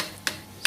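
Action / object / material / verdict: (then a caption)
tap / rubber chain slider pad / rubber / hardened. A hardened old rubber chain slider pad is struck twice, giving two short, sharp, bright clicks with almost no ring. The hard pad sounds different from a soft new one.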